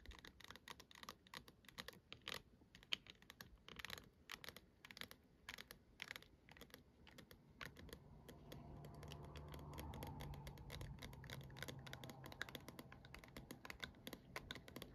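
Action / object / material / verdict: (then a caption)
tap / plastic dome of a star night light / plastic / none. Both hands grip the hollow plastic dome of a star projector night light while fingernail tips tap and scratch around its curve. Quick, dry, bright clicks come in a rapid, uneven patter with no ring. About halfway through, a steadier, louder rubbing scratch with a low hum rises beneath the taps.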